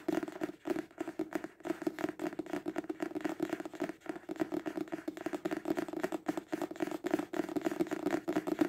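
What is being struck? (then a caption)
Paperback book. A paperback book, held horizontally, is tapped quickly on its cover with fingertips and nails, giving a rapid, steady stream of soft papery taps for about nine seconds. The taps are short and dry with almost no ring, centered on a low-mid hollow tone around 310 Hz, with little deep bass or bright top.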